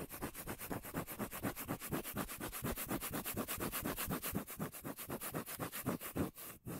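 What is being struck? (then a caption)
Cork lid. Fingertips and nails rub and scratch the face of a round, palm-sized, solid cork lid held close to the mic. About 35 quick strokes come at a steady rhythm of roughly four per second, each a dry, bassy brush with a bright scratchy edge. The strokes end in a brief dip to near silence and one last scrape.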